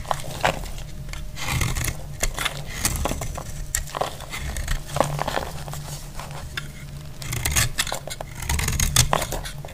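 A dry, brittle white bar of soap held in the hand is cut and shaved with a metal blade, and the flakes fall onto a cloth. Many quick, crisp scraping and crunching clicks sound against a low, steady hum. The dry, crumbly slicing continues throughout.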